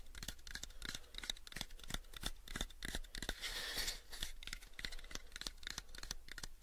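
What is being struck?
Small light wooden box.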